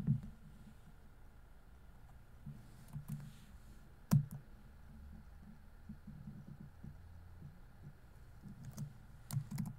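Fingertips tap the plastic keys of a grey laptop keyboard, making quiet, irregular clicks over a low, steady hum. One sharper, louder click stands out near the middle, and a few more come near the end.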